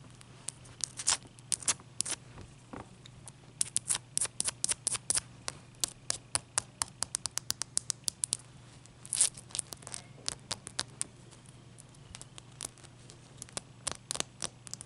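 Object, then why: Large block of ice. Long dark nails tap and scratch the faces and edges of a large, clear, solid ice block resting on a towel. Dozens of sharp, bright clicks and short scrapes come in quick, uneven bursts, each dying away almost instantly. A faint steady low hum sits underneath throughout.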